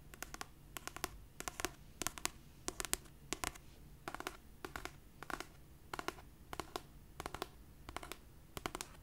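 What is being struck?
Paperback book with paper cover.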